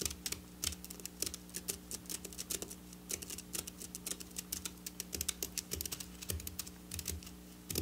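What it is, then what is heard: Sequin fabric. Long black nails tap and scratch across flat silver sequin fabric lying on a table. Quick, dry clicks and bright scratchy rustles come in a dense, irregular stream over a steady low hum. Each tap dies away almost instantly, with no ring.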